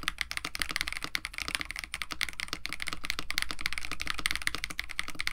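Both hands type continuously with their fingertips on a compact 65% KBD67 Lite mechanical keyboard with a white case, blue and white PBT plastic keycaps, an FR4 plate and lubed Techno Violets switches. A rapid, steady stream of crisp clacks rings bright around 2 kHz over a low thump, and each keystroke dies away almost at once.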